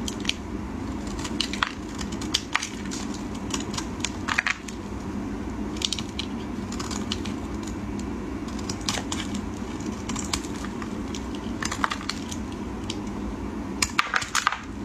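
A utility knife blade scrapes and shaves the surface of a solid green embossed bar of soap. Crisp, bright scraping and crackling bursts repeat over a steady low hum.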